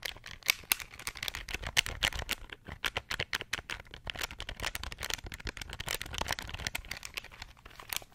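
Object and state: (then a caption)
Plastic pocket calculator keys. Rapid fingertip presses on the plastic keys of a small, hollow, beige plastic pocket calculator held near the microphone. They produce a dense stream of sharp, dry, bright clicks and light rattles, each dying away almost at once.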